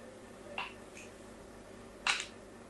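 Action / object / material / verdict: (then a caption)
scrape / bar of soap / soap / none. A fine blade scratches crosshatch lines into the face of a solid pink soap bar held in the hand. Short, bright, crisp scraping strokes stand out against a quiet background, with the last stroke louder and slightly longer than the first.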